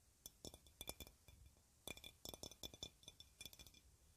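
A clear, hollow glass jar or bottle about 20 cm tall, decorated with yellow flower shapes, is held in both hands and tapped with long red nails. Nineteen quick, bright clinks come in irregular bursts, each dying away almost at once.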